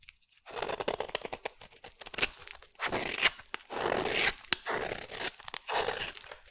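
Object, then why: Bar of soap. A solid green bar of soap is scraped into shavings with a metal blade. Repeated dry, crunchy scraping strokes come in bursts of bright, crackly texture with little low end. Each stroke is short and sharp and stops without ringing.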